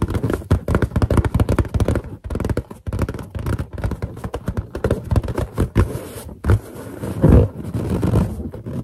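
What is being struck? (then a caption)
Inflated latex balloon. Long nails scratch and tap across a large, hollow, inflated white latex balloon with a drawing on it, while fingertips grip and rub its surface. The result is a dense stream of quick, dull taps and scratchy rubbing over a deep, hollow thump, with occasional louder squeaky grips and very little ring after each touch.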